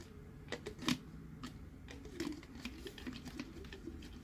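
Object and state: Hollow hard plastic cup.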